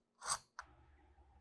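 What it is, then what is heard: Crispy roasted hen skin. The golden-brown skin of an air-fried Cornish hen, crisped a few extra minutes at higher heat, gives two crisp crackles: a broad, bright crunch followed by a shorter, sharper click. A faint low hum continues afterward. The skin came out crisp.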